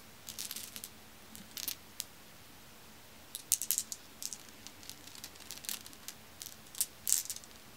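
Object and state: Pile of glass marbles.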